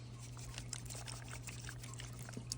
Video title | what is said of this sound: OutIn Nano First Experience | there's no water in here but if I shake it you can hear the water